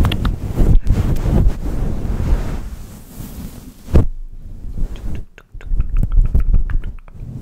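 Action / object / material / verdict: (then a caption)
scrape / faux-fur microphone windscreen / faux fur / none. A grey and white faux-fur windscreen, soft and hollow, on a silver microphone is rubbed and brushed with the fingertips and nails of both hands. The result is a dense, muffled low rumble with a sharp thump near the middle, then quieter passages broken by crisp, bright scratching clicks from the nails.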